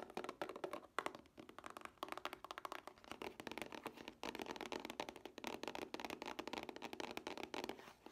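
A plastic DVD case with a cardboard sleeve is turned in the hands while fingernails tap its flat face and edge. Rapid, dry, clicky taps with almost no ring, centered around 1.1 kHz with little low end, with a brief lull near the middle before the tapping picks up again.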